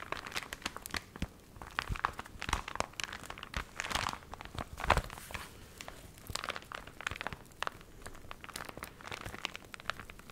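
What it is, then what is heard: Crinkled dry paper booklet. A small recipe booklet of paper that was wrinkled by water and has dried is squeezed, bent and crinkled with fingernails close to the microphone. The result is a dense run of dry, crisp crackles and crunches with a bright edge. Louder crumples stand out around the middle of the clip.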